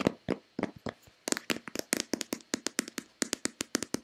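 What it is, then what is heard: Plastic lotion bottle tapped with fingernails. Long painted fingernails tap a white Nivea plastic lotion bottle, hand-sized, hollow and possibly partly full, producing 26 crisp, separate taps over about four seconds. Each tap is a bright click with a short, hollow plastic body and almost no ring. The taps start spaced out, then settle into a quicker, steady rhythm.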